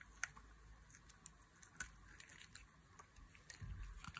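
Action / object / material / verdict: scrape / bar of soap / soap / none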